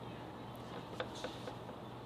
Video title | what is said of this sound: SoN pass or fail | got just a little bit of a rattle